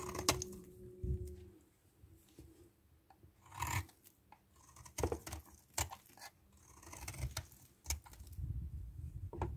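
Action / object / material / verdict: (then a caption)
scrape / solid bar soap and metal knife / soap / none. A solid white DURU bar soap, held in the hand, is scraped with a red-handled metal knife, making dry, crisp scraping strokes and short bright clicks. A quieter stretch where the bar sits uncut separates bursts of brief, scratchy shaving sounds that die away almost at once.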